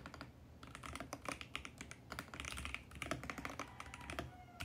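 Fingertips type rapidly and continuously on a compact VGN X68 mechanical keyboard with plastic keycaps and a mint plastic case. The result is a dense, steady stream of crisp, bright clacks with a light low thock under each stroke, each dying away almost instantly.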